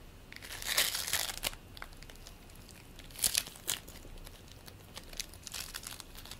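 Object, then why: Play foam ball of polystyrene beads. A green play foam ball made of polystyrene beads, solid and squishy, is pulled apart with the fingertips and squeezed back together. Bursts of dry, bright crinkly crackling come and go at an irregular pace, with quieter fizzing between them.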